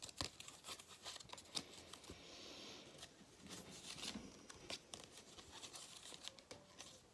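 A thin gold foil cardboard galette crown is held in both hands while fingertips rub, scratch and flex its metallic surface. Bright, crinkly scratching and crackling come in quick, irregular bursts, with a smoother rustling stretch in the middle.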